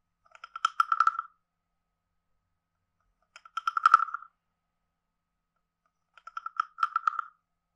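A wooden stick taps and rattles across the body of a hand-sized, carved, hollow wooden frog guiro with a ridged back. Three short bursts of quick, dry wooden clicks with a hollow mid-pitched knock and bright edges are separated by silence. Each click dies away almost instantly.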